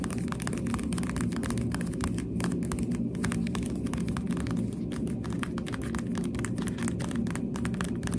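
A thin pink plastic headband with hollow translucent pink plastic cat ears is held in both hands while the ears are tapped rapidly with finger pads and long dark nails. The taps make quick, dry, hollow plastic clicks with bright edges. They run continuously over a steady low, throbbing rumble centered around 230 Hz.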